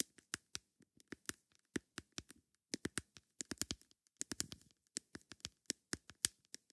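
A plastic lid is tapped with long nails in quick, irregular bursts. Each tap is a sharp, dry, bright click that dies away almost instantly, with a soft scratchy texture between some of them.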